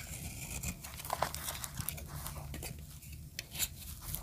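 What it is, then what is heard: Dry soap bar being cut. A solid white bar of dry soap, held in the palm, is sliced with a metal utility blade. The result is a steady run of dry, crumbly crinkling and scraping crunches, with brief bright snaps over a low rumble.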